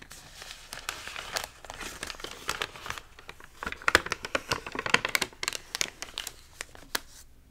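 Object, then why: Glossy paper magazine pages. Hands turn a page of an open, water-damaged glossy paper magazine with stiff, wavy pages, then flat palms rub and smooth the crinkled spread. The result is a steady, bright crinkling and rustling, broken by sharp dry crackles and louder snaps in the middle of the clip, with almost no low end.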